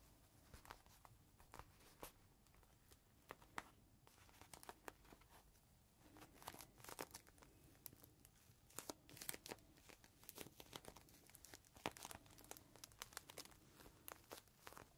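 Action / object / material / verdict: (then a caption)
scrape / plastic bag with microfiber cloth inside / plastic / none. A green microfiber cloth inside a clear plastic bag is held in both hands while fingertips press, squeeze and crinkle the plastic. Quiet, continuous crinkling is punctuated by frequent sharp, bright crackles that die away almost instantly over a low, soft rustle.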